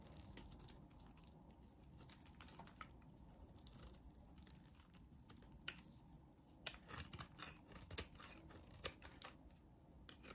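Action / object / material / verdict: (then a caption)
scrape / soap bar scraped with a blade / soap / none. A solid, hand-sized light green bar of soap is shaved and scraped with a snap-off utility blade. Soft, steady scraping runs under sharp, bright clicks and snaps, with several louder cuts standing out in the second half.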